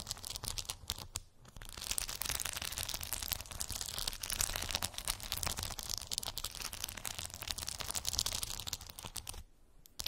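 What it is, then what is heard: Plastic bead-covered cork board. Long acrylic nails scratch and tap across a round cork board covered with small colorful plastic gummy bear beads. The result is a dense, bright crackling and clicking texture with a faint low hum underneath. It dips briefly near the start and quiets just before the end.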